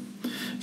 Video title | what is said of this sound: Casting a Bronze Halloween Pumpkin | It's hollow. You can tap it. It's, you know, it's very hollow.